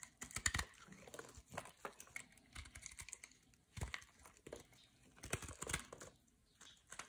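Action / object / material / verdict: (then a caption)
scrape / solid bar soap cut with a metal blade / soap / none. A metal blade carves and scrapes flakes and chunks from the face of a solid white bar of soap held in the hand. The sound is a quiet run of short, dry, crunchy scraping clicks in uneven bursts, bright and crisp with almost no ring.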